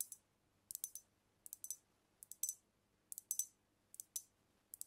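Long nails tap rapidly on a brown glass cognac bottle held tilted over the mic, making about 19 short, bright, dry clicks in quick clusters of two to four. The clicks are quiet and crisp, with almost no low end and no ringing, separated by near-silence.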